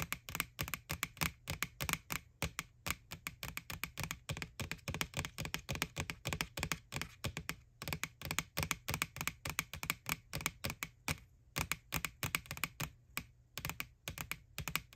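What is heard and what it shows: Long nails tap rapidly and steadily on the side wall of a small, hollow white plastic ghost Halloween candy bucket (McDonald's Boo Bucket), over its printed face. Each tap is a short, dry plastic click with a bright edge around 2.3 kHz and a light hollow thump underneath, dying away almost at once.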